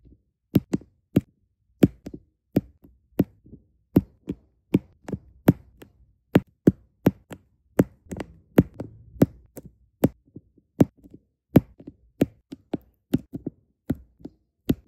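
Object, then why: Resin drills on adhesive canvas. Small solid resin diamond painting drills are tapped into place on a sticky adhesive canvas with a Disney castle design, using a plastic drill pen. About 35 light, separate taps sound as dry, short clicks, each with a brief low thump near 270 Hz that dies away almost instantly. Faint soft rustling fills the gaps between taps.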